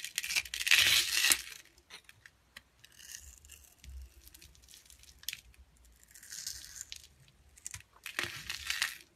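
A wide metal blade scrapes and shaves a translucent yellow glycerin soap bar with glitter held in a palm, taking off fine flakes. Bright, crisp scraping and crackling comes in bursts, with the loudest strokes at the start and end and quieter ones between.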